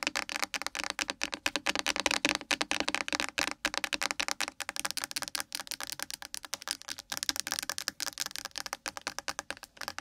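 Long acrylic nails tap rapidly on a small, hollow blue plastic Nivea sunscreen gel bottle that appears partly full and lies on its side on a microphone. The result is a continuous stream of dry, bright, clicky plastic taps with no low-end thump and almost no ring after each hit.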